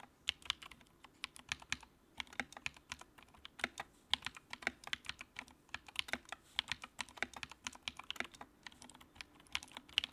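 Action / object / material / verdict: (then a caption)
tap / plastic mechanical keyboard / plastic / none. Fingertips type steadily on the keycaps of a compact, backlit white plastic mechanical keyboard for about ten seconds. Each keystroke gives a quick, crisp, bright click centered around 2.9 kHz that stops almost instantly, with barely any low end. The clicks come in uneven bursts over a quiet background.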